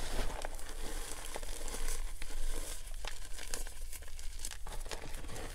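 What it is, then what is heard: Crumbled dry gym chalk powder. Bare hands scoop loose pink gym chalk powder in a clear plastic tub, squeezing handfuls and letting them crumble and fall as the dry powder is crushed between the fingers. Soft, dry crunches and crinkly crackles come in a steady, closely spaced stream over a constant low hum.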